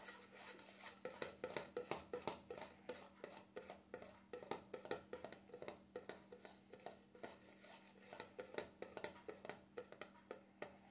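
Fingertips rapidly tap the black plastic lid of a small cream jar with a label on its side, then a hand grips the jar's rim. About forty light, dry clicks with almost no ring come in an uneven, quick run over a faint steady low hum.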